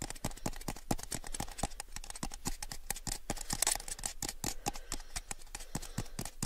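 A small, hollow, empty clear plastic cup is held in both hands and tapped with fingertips and nails. The result is a quick, steady stream of short, dry taps with bright clicky edges and a hollow low thump under each, with almost no ring after each tap.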